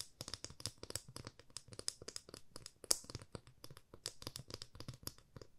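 A 30 cm solid, light wooden ruler held in both hands is tapped with long fingernails. Rapid, quiet, bright clicking taps run irregularly throughout, each dying away almost instantly, with one sharper tap near the middle.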